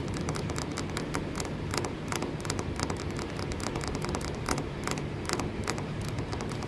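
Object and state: Wooden post tapped and scratched.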